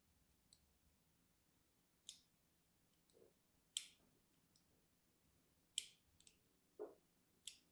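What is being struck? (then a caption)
Bar of soap. A thin metal needle tool scratches lines into the surface of a small, solid pink bar of soap held in one hand. Five sharp, bright scraping clicks stand out, centered around 3 kHz, with fainter scratches between them at an uneven pace. Each one is very short, with almost no ring, over a quiet, hushed background.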